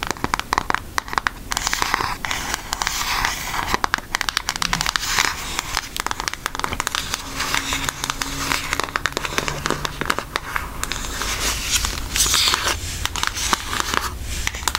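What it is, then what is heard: Cardboard eyeshadow palette. A pink Aristocats cardboard eyeshadow palette is tilted and tapped or scratched with long nails, then turned toward its edge. The result is a dense run of quick, dry, crinkly clicks and scratches with a bright, crackly texture and very little ring after each contact.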